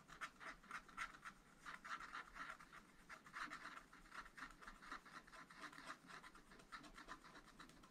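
A wooden stylus scratches and rubs dense strokes into a tree design on black wax-coated scratch art paper in a flat spiral pad. The result is a quiet, steady run of short, dry scratches at about four per second, each with a papery rasp centred near 1.3 kHz and a faint bright hiss.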